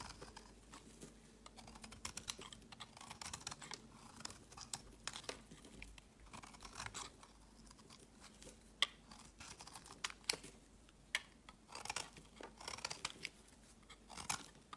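A metal knife blade shaves along the edge of a palm-sized solid green bar of soap, scraping off thin flakes. The result is a quiet run of crisp, bright scraping and crackling strokes with tiny clicks and almost no low end.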